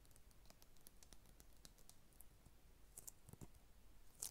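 An Xbox 360 game case for Eragon, made of hollow hard plastic with a cardboard insert, is held in both hands and tapped and scratched with long red acrylic nails. A quiet, steady run of short, bright clicks and light scrapes sits over a low background rumble, and each tick dies away almost at once. The sharpest click comes right at the end.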